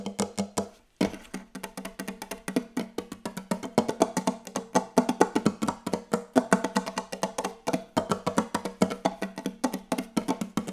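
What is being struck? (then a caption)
Wooden table. Very fast, aggressive tapping on a wooden table produces dozens of short, dry, knocking hits with a woody tone around 250 Hz. The taps come in a dense, uneven stream, with one brief pause near the first second, and each one dies away almost instantly.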